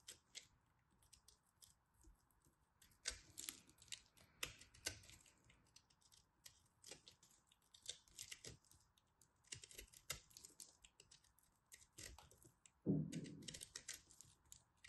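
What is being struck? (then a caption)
Pressed soap ball. A small black knife carves a fist-sized, solid, blue and purple glittery pressed soap ball, which crumbles into flakes. Quiet, irregular, crisp clicks and bright scraping crackles tick along, with a louder, fuller crumbling burst near the end.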